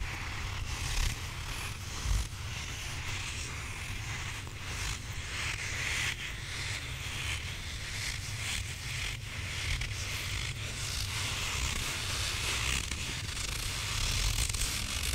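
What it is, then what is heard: Rubber squishy toy. A hand-sized grey rubber squishy possum toy is scratched and squeezed with fingertips and nails across its textured body. The result is a steady, crunchy, gritty scraping and rustling over a constant low rumble, with a few louder squeezes standing out.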